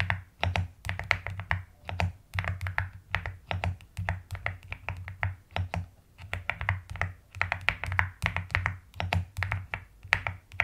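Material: Plastic.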